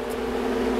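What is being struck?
Nothing is struck.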